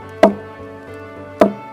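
A stone knocks twice against the trunk of a Phoenix palm, giving two short, hollow, resonant thocks with a mid-range tone that die away quickly. The trunk sounds hollow because it is hollow inside, and it grows more hollow as the palm ages.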